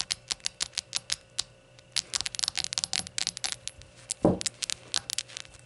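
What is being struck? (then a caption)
Glass shot glasses. Rainbow-colored shot glasses are tapped and fidgeted with, giving quick, bright, coin-like clinks that ring only briefly. A slower run of taps gives way to a dense flurry, with one heavier, fuller knock near the end, and nothing is spoken.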